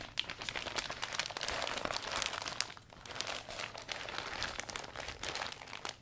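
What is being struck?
Thin vinyl umbrella canopy.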